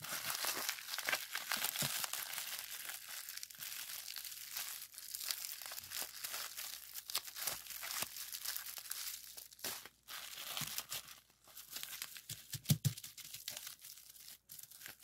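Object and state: Plastic bubble wrap.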